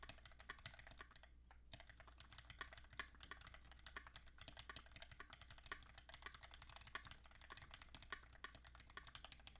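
Both hands type steadily with their fingertips on a compact QXP mechanical keyboard with Greetech Black switches, an aluminum case and ABS keycaps. A dense stream of short, crisp clacks fills the clip, with occasional louder keystrokes and a brief pause near the 1.5-second mark. A faint low hum runs steadily underneath.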